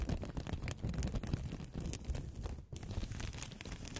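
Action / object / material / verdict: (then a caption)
scrape / thin blotting-paper sheets / paper / none. Two thin, flat white blotting-paper sheets, one held in each hand in front of the mic, are rubbed and crinkled between long-nailed fingertips. The result is a continuous, dense crinkling rustle with a heavy low rumble underneath, briefly dropping quiet just before the end before resuming.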